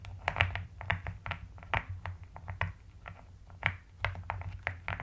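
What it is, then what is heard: Mechanical keyboard typing. Rapid typing with long nails and fingertips of both hands on a full-size mechanical keyboard with rounded pastel purple and white plastic keycaps in a white plastic case. Quick, short key clicks with bright clacky tops land over a steady low hum.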